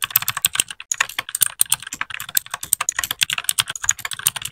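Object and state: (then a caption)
Plastic mechanical keyboard. A small white 60% mechanical keyboard with plastic keycaps is typed on with the fingertips of both hands in continuous keypresses. It makes a quick, uneven run of sharp, bright plastic clacks that stop almost instantly, with very little low end.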